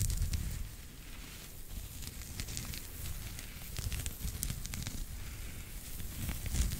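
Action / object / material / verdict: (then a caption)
scrape / knitted fabric toy / knitted yarn / none. A pink knitted fabric pig toy held close to the mic has its knit surface scratched with fingertips and nails. The result is a steady, crackly scratching with a deep low rumble underneath and scattered bright ticks.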